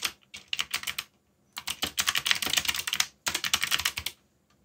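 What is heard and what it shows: Fingertips, one wearing a bandage, type on a backlit mechanical computer keyboard with black plastic keycaps bearing Korean legends. Quick, bright, clicky key taps come in three irregular bursts separated by short pauses, each tap dying away almost instantly with very little low end.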